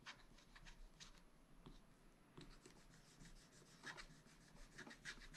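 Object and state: Scratch-art paper pad being scraped.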